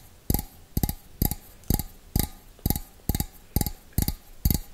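Fingernails tap the rim and outside of a small, hollow, empty stainless steel bowl held with its opening facing forward. A slow, steady series of short taps plays at about two per second. Each tap has a dull low thump and a bright metallic click that dies away almost at once.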